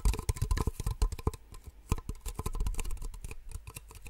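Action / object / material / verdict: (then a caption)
tap / two small empty plastic cups / plastic / none. Two identical small, empty white plastic cups, held close to the microphone, are tapped rapidly with long nails. The result is a quick, uneven patter of short, hollow clicks with deep, close-miked thumps, each dying away almost at once.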